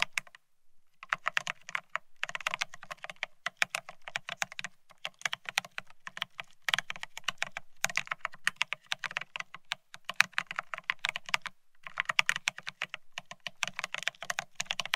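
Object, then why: Mechanical keyboard with ceramic keycaps on a steel plate. A Bear65 mechanical keyboard with blank white matte ceramic keycaps (Cerakey) on a steel plate, resting on white cloth, is typed on rapidly with the fingertips of both hands. The result is a dense, continuous stream of short, bright, clacky keystrokes with almost no ring and a faint low thump under each press, broken by a few brief pauses.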